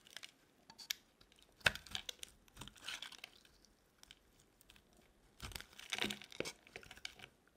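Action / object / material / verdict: scrape / bar of soap / soap / none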